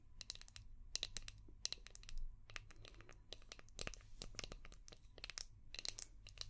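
Long painted nails tap and scratch a palm-sized, translucent orange hard plastic brush shaped like a seashell, with a ridged back. The result is a quick series of sharp, bright clicks and crinkly scratching bursts over a steady low hum.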